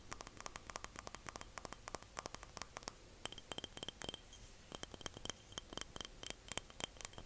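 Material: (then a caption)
Glass. A small glass jar is tapped and clinked in a rapid, uneven series of short, bright ticks. Each tick dies away almost instantly. From about the three-second mark the clinks carry clearer high ringing tones over a faint background hiss.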